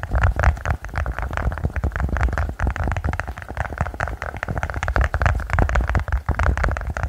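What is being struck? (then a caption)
Silicone push-bubble toy. A silicone pop-it push-bubble toy is tapped quickly and continuously, giving a dense run of soft, dull, low-pitched thumps. The taps follow one another too closely to count, and each dies away almost at once.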